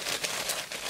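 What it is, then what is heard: Crisp, fully fried spinach fritters. Freshly fried spinach and gram flour pakoras are shaken in a strainer or spoon, giving a bright, dry, crackling crunch and rustle. Floating in the oil with the bubbling died down, they are fully cooked and crisp.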